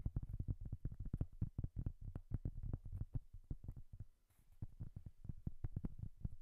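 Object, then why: Cork coaster. Long dark-painted nails quickly tap and scratch the surface of a large, flat, round, solid cork coaster held in both hands. A rapid run of dull, low-pitched thuds with almost no ring, interrupted by a brief quiet pause just past four seconds before the fast tapping resumes.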